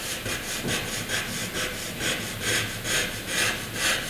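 A graphite pencil rubs across a sheet of flat white drawing paper, drawing thick rectangle outlines. Steady, regular back-and-forth strokes make a bright, dry scratching hiss that swells and fades in a rhythm of a little over two strokes per second.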